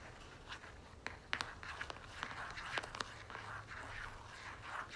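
Long nails tap and scratch the flat face of a red and gold soft plastic lotion tube held upright. Nine sharp, bright clicks stand out over a quiet, crisp scratching texture, with a faint low hum underneath throughout.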